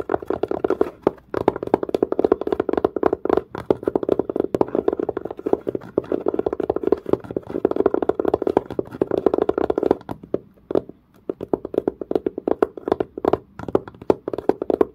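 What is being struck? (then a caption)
Textured leather-covered case. A long nail presses into and scratches the dark grained surface of a textured leather-covered case, working the same spot. Rapid, dense taps and scratchy strokes come close together with a dry, short, midrange tone, easing briefly near the eleventh second before resuming.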